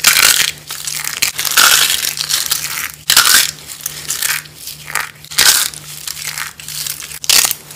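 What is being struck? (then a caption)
Bar soap shavings. Bare hands squeeze and crumble thin, curved shavings of dry light blue and green bar soap on burlap, breaking them between the fingers into crunchy flakes. Bright, dry crackling crunches come in bursts of irregular loudness, each fading quickly into quieter crinkling, over a faint steady low hum.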